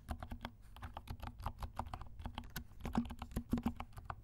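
Fingertips of both hands type steadily on a compact black mechanical keyboard with silent switches and black and pink plastic keycaps. The result is a rapid, even run of soft, muffled low thocks, each a short dull clack that dies away almost at once, with a faint bright tick on top.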